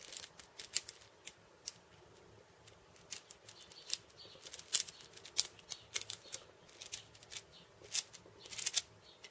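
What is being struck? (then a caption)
Wooden cabasa wrapped in steel ball chains. Fingertips and long painted nails tap and scratch across a cabasa, a wooden cylinder wrapped in steel ball chains. The result is a quiet, irregular run of bright, crisp clicks and short metallic rattles with almost no low end, each dying away almost instantly. A brief lull falls between the busier bursts.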